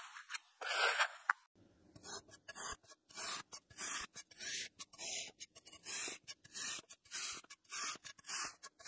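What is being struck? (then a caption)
Packed kinetic sand scored with a metal blade. An iridescent metal knife blade scores crosshatch lines into the top of solid, packed teal kinetic sand in a small clear plastic container held in one hand. A louder, bright, hissing scrape comes first, then a brief quiet gap. After that, a steady series of short, crisp, gritty cutting strokes follows, each separated by silence.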